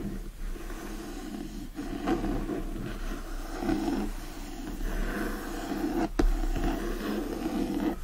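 Fingertips and short nails scratch across the cardboard cover of a solid, teal illustrated hardcover of "The Secret Garden" with foil details, lying flat. A steady, low, rasping scratch rises and falls in repeated strokes for about eight seconds.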